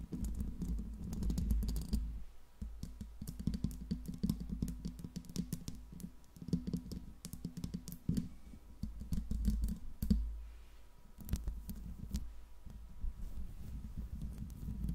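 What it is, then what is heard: Metal microphone grille. Long pink nails from both hands tap and scratch a hollow metal mesh microphone grille, making a dense stream of quick, dry clicks over a heavy low thump. The tapping runs almost without pause, with a brief quieter lull before it picks back up.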